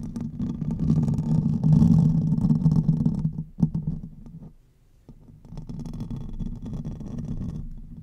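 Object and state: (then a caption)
Metal mesh microphone grille. Fingernails scratch the top and sides of the hollow metal mesh grille on a silver condenser microphone, producing a dense, low, rumbling scrape. The scratching is loudest early, has a sharp knock near the middle, fades almost to silence, and then resumes at a softer, steady level.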